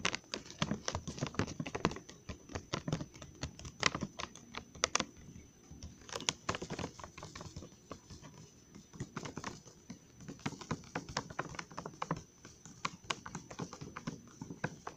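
A full, glossy plastic Trolli gummy worm candy bag is held up and turned while fingertips and nails tap and scratch its surface. The result is a rapid, dense stream of short, dry, crinkly clicks with bright, crisp edges and a light low thump under them. The tapping eases into quieter scratching for brief stretches before picking up again.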